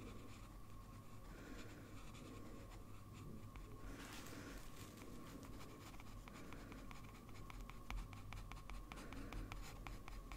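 A blue fountain pen with a metal nib scratches continuous drawing strokes across a large flat sheet of white drawing paper. Soft, dry nib scratching runs throughout, with a brief brighter burst near the 4-second mark and quicker, sharper ticks of short strokes in the second half. A steady low hum and a faint tone near 1 kHz sit under the quiet scratching.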